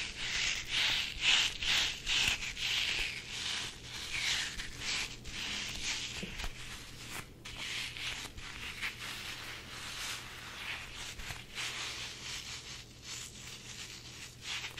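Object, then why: Soft rubber squishy toy. A hand-sized red soft rubber squishy toy shaped like a chili pepper, hollow and stretchy, is rubbed and squeezed by fingertips with medium nails, then stretched out long. Bright, squeaky rubbing and scraping strokes repeat at a steady, brisk pace. They are loudest at the start and ease into softer, continuous friction.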